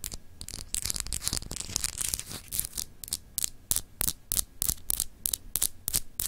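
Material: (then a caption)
Glass. Long acrylic nails scratch and tap on a palm-sized solid clear glass globe paperweight with textured continents. Dense, bright scratching in the first half gives way to a quicker series of crisp, separate taps, each dying away almost at once. A low hum runs underneath throughout.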